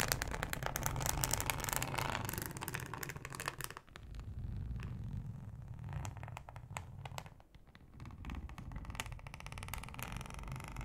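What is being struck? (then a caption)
Thin ribbed plastic cutting board. Long acrylic nails tap and scratch a thin, flexible yellow plastic cutting mat with a ribbed texture. The result is a dense, quick run of dry scratches and short clicky taps, with a heavy low rumble and bright raspy edges. The sound eases briefly a couple of times before picking back up.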